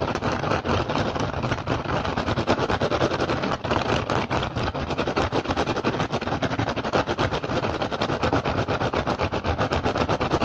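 Fingertips and short nails of both hands rapidly tap and scratch the woven surface of an upturned, hollow, empty rattan basket. The result is a dense, continuous stream of quick, dry, crackling taps and scrapes with a hollow low-mid body. Each hit dies away almost instantly, and the level stays steady for the whole clip.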